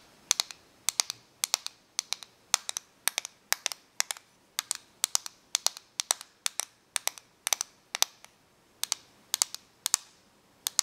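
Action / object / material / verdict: tap / plastic correction tape dispenser / plastic / none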